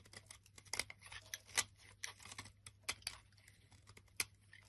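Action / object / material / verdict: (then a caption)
scrape / soap bar scraped with a blade / soap / none. A flat blade scrapes and cuts the top edge of a solid olive-green bar of soap held in the hand. Quiet, crisp scraping and short bright clicks and crackles come at an irregular pace, with a few sharper snaps standing out. A faint steady low hum runs underneath throughout.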